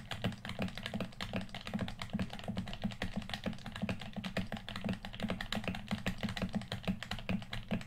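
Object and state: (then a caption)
Plastic game controller. Fingertips tap rapidly along the top edge and body of a hand-sized, hollow red plastic PS4 controller held in both hands. The result is a steady stream of short, dry clicks over a hollow, low body tone around 200 Hz. Each tap dies away almost immediately.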